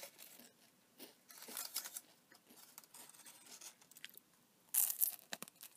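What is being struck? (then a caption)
Aluminium foil wrapper with paper cup. An empty, crumpled gold aluminium foil chocolate wrapper with a brown paper cup is held in one hand and crinkled and squeezed with the fingers and long nails. The result is quiet, bright, crackling crinkles in irregular bursts, with a louder sharp rustle near the end.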